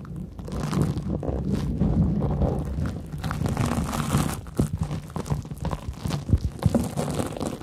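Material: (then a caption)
Cellulose. A nail scratches across the porous surface of a large yellow cellulose sponge held over the microphones. The sound is a dense, low, muffled crunching and crinkling that runs steadily for the first few seconds. It then breaks into sharper, separate crackles and scrapes.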